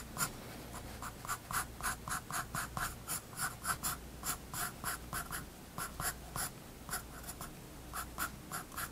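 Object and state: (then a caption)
Pencil strokes on a paper sketchbook page. A graphite pencil scratches short line strokes across a page of a spiral-bound paper sketchbook resting on a wooden desk. About eighteen quick, irregular scratchy bursts are heard, each with a bright, papery hiss and a midrange rasp. A steady low hum sits underneath.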